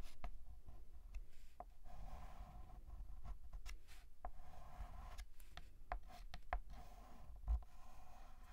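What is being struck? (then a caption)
Chalk on a painted blackboard. A hand writes with a stick of white chalk on a large, flat, black painted blackboard. Quiet, dry scratching strokes are heard with short, bright taps as the chalk meets the board, over a low background rumble.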